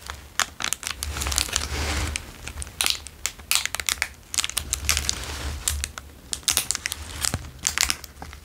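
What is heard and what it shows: A square clear plastic wrapper is crinkled and squeezed between fingers, giving a dense run of bright, crackling snaps and rustles with short bursts of steady crinkling. A faint low rumble runs underneath.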